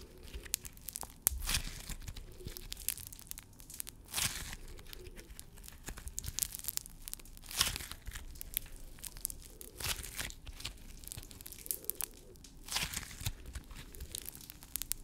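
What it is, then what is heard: Crunchy foam-bead slime being squeezed. A solid blob of pink crunchy floam slime packed with tiny foam beads is kneaded, squeezed and stretched by fingers and palm in close-up. The beads crackle and pop in a dense, bright, crunchy stream as the slime is crushed, with a few louder squelching bursts over a soft low rumble.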